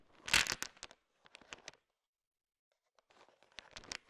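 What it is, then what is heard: Sugar-coated chocolate candies. A wooden stick pushes and stirs a heap of small, solid, hard-shelled, colorful sugar-coated M&M candies, making the candies rattle against each other. Bright, crisp clicking bursts swell to a loud clatter near the start, thin into scattered ticks with a quiet gap, then pick up again toward the end.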